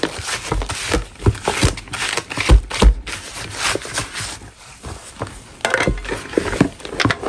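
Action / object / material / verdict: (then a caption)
scrape / chalk block scraped with a metal putty knife / chalk / none. A gloved hand scrapes a large, solid, dust-covered chalk block with a metal putty knife. The result is a run of irregular, gritty scraping strokes with a dry, crumbly crackle and soft low thumps as the blade drags and catches on the surface.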